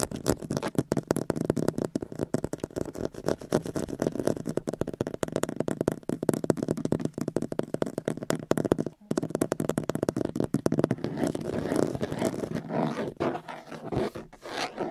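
Fingertips and short nails scratch and tap on the round central hub cover of a Jeep steering wheel, a solid molded plastic/rubbery surface with the Jeep logo and a chrome ring. The result is a dense run of quick, dull, low-mid clicks and scratches with almost no ring, packed too close together to count, with a brief pause near the nine-second mark.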